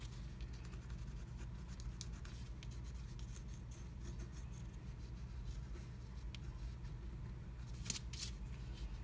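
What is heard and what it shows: A pointed wooden stylus scratches freehand into a black-coated scratch art card, filling in a heart without a stencil. Faint, dry, bright scratching strokes come and go over a quiet, low, steady hum. One sharp, louder tick stands out near the end.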